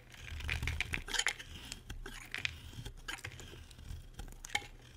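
A solid, dry white bar of soap held in the hand is carved with a metal utility blade. Crisp, bright scraping and cutting strokes come in a steady run of short, crunchy bursts with sharper snaps between them, over a faint low hum.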